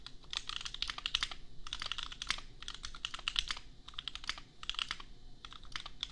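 A $250 custom 60% mechanical keyboard with Gateron Milky Yellow switches and red and white plastic keycaps, resting on an anime desk mat, is typed on with the bare fingertips of both hands. Quick runs of crisp, bright plastic clacks with a tone around 3.3 kHz come in bursts separated by brief pauses, each keystroke dying away almost instantly.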